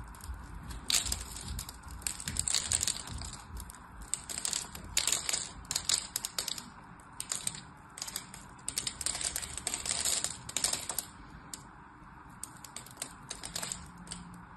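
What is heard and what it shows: An orange and white striped soap bar held in the hand is cut in a crosshatch pattern with a blade, and small cubes crumble off. Dense, bright crackling and scraping comes in irregular bursts of short, crisp clicks with almost no ring.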